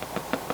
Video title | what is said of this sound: Homemade Cheddar Dill Bread Recipe - Hearty Soups & Rustic Breads - Boule or Soup Bread Bowl! | a nice Hollow sound when you tap the bottom